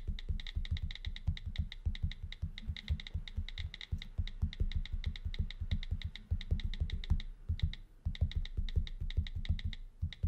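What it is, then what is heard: Glass tablet screen being tapped. Fingertips type quickly on the on-screen keyboard of an iPad in a brown case lying on a desk, tapping the flat glass screen. Each tap is a short, dull low thud with a faint bright tick on top, and the taps come in fast, steady runs with brief pauses near four and eight seconds.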